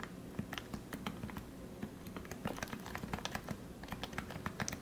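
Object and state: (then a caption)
Plastic Topre keyboard being typed on. Fingertips type continuously on a lubed Leopold FC660C plastic Topre keyboard with 45g switches and plastic keycaps. About 25 short, muted keystrokes follow one another, each a soft low thock with a brief bright tap on top that dies away almost at once.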